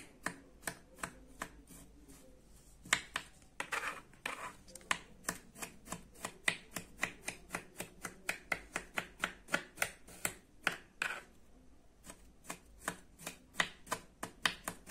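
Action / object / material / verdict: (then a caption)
scrape / kinetic sand cut with a plastic toy knife / kinetic sand / none. The serrated edge of a green plastic toy knife presses and chops into a small, loose pile of beige kinetic sand on a white surface, making about 41 crisp, bright, gritty crunches in a steady rhythm. Each chop cuts off almost at once. A few longer, grainy scraping strokes come near the 3 to 4 second mark and around 11 seconds.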